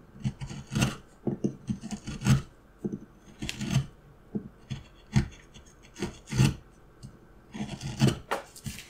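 A steel carving knife makes repeated scraping cuts into a solid, light wooden block. The irregular, rasping strokes come in short bursts with a low, woody body and bright high-frequency streaks. Each cut dies away quickly, with quiet gaps between them.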